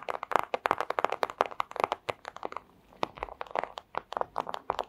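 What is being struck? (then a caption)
Thin clear plastic pouch. Long acrylic nails scratch and crinkle a flat, thin clear plastic pouch, producing a rapid stream of crisp, dry crackles and ticks centered in the midrange with a bright edge and no low end. The crinkling briefly thins to a soft rustle near the middle before picking back up into dense, snappy scratching.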